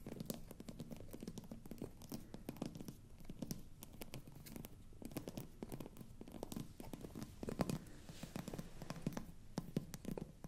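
Fingernails scratch and grip the glass stopper of a hollow, frosted glass bottle held close, with a slight twisting motion. The result is a quiet, dense stream of rapid scratchy clicks and taps with a low, hollow body and short, bright ticks that die away almost instantly.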